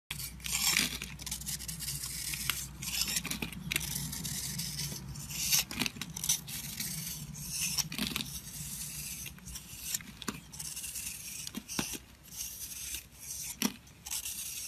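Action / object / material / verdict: scrape / bar of soap scraped with a blade / soap / none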